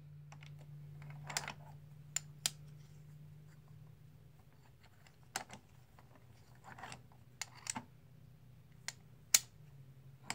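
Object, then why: Plastic composite poker chips. Blue and white plastic composite poker chips, solid discs held in the palm, are riffled and stacked with the fingertips. About nine sharp, bright clicks ring out at irregular intervals, with softer rustling between them. A low steady hum sits underneath, and no one speaks.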